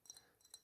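A large glass aftershave bottle is tapped with the fingers, giving three quiet, bright clinks with a high glassy ring that fades fast. It makes a nice tapping sound because the bottle is big and hollow.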